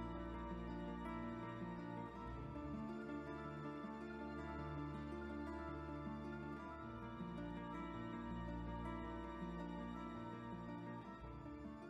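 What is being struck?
Nothing is struck.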